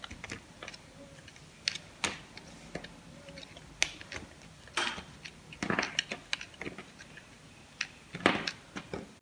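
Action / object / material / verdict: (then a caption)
scrape / bar of soap / soap / none. Thin slices are shaved and cut off a solid purple bar of soap held in the palm with a small knife blade, and the slices pile up on the table. Crisp, bright scraping clicks and short crunchy cuts sound at an irregular pace, with a few louder snaps standing out against quiet gaps.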